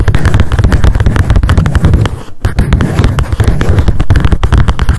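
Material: Paper.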